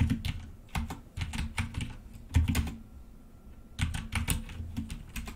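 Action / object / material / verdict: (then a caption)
tap / plastic computer keyboard / plastic / none. Fingertips of both hands type steadily on a black plastic full-size mechanical computer keyboard with red keycaps resting on a desk. Quick runs of clacking plastic keystrokes with a deep, low-heavy thock break off for a short pause midway before the tapping resumes.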